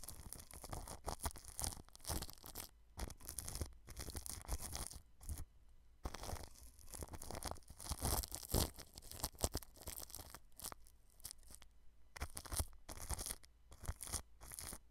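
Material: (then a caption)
Plastic film. A paintbrush brushes clear plastic cling film wrapped over a white microphone, right at the rim. It makes close, crinkly rustling and scratchy strokes in uneven bursts, with short pauses between them. The sound has a heavy low rumble under bright crackles.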